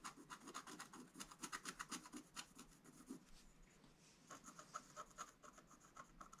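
A wooden stylus held upright scratches lines into a flat black-coated scratch-art page, making quick, dry scratching strokes with a bright, hissy edge and a steady tone near 1.3 kHz. A dense run of strokes over the first three seconds fades into a quieter, softer scraping stretch, then another burst of strokes follows to the end.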